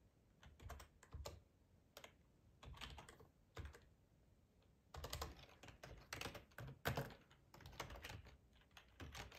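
Fingertips type on a black plastic ergonomic split keyboard with a hollow housing, resting on a cloth tablecloth. Short bursts of quick, dull key clicks with low thuds alternate with brief quiet pauses, growing denser and louder in the second half.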